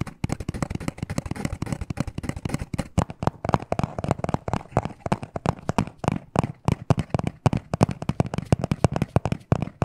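A small, hollow black cardboard necklace box is tapped and scratched fast with short nails. The result is a dense, continuous run of quick, dry, papery taps and scrapes with a low, hollow thump and almost no ring, steady at a moderate level for about ten seconds.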